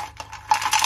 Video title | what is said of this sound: चूल्हे पर मिट्टी मुल्तानी और स्लेटी रोस्ट किया#trending #viral #multanimitti #multani #armaanmalik # | crunch हो गया बिल्कुल ही, आवाज से पता लगा कितनी क्रंच हो गया है